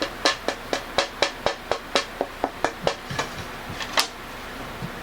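A jatoba (Brazilian cherry) tonewood board, meant to become the back of a hollow-body guitar, is tapped about 15 times in a quick, uneven series. Each tap gives a bright, short ringing tone with a pitch near 570 Hz. The board shows a good, bright tap tone with a nice ring.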